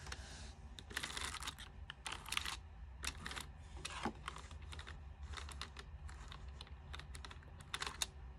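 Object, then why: Plastic computer keyboard keys. Long-nailed fingers type fast on a white plastic full-size backlit keyboard with its lights on, producing a quick, uneven run of bright, short clicking taps. The taps come in dense bursts with brief pauses and sit over a steady low hum throughout.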